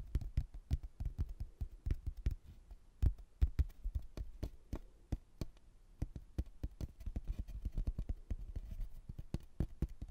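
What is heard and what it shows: A rigid laminated hardboard placemat, a solid thin board printed with a photo of a white building and a blue textured border, is held in both hands and tapped with the fingertips. It gives a rapid, irregular run of soft, dull, low thuds that stop almost instantly, with no ring and almost nothing bright.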